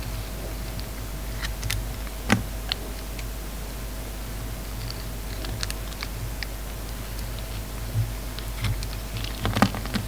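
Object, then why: Bar of soap. An oval bar of solid soap with a dark red metallic coating and a pink inside is held in the hand and scraped and carved with a metal utility knife blade. Soft, short scraping and clicking ticks sound over a steady low hum, with a few sharper, brighter cuts standing out.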